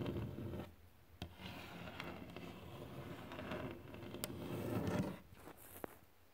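Fingertips tap and scratch across glossy varnished wood boards. A soft, low-heavy scraping texture swells and fades, broken by a few sharp, brief taps before it trails off quietly at the end.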